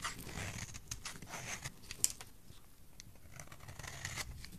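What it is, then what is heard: Dry bar soap. A utility knife blade scrapes curls off the face of a solid, dry, rectangular purple bar of soap with a stamped logo, held in one hand. Repeated short, bright scraping strokes carry a soft low rustle beneath them, with one sharper snap near the middle.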